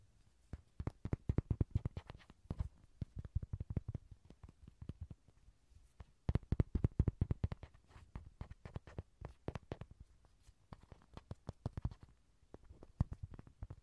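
A Rody toy, an inflatable vinyl ride-on horse, is tapped over and over in quick irregular bursts. Each tap is a soft, dull, low thump that dies away almost instantly, with brief pauses between the clusters.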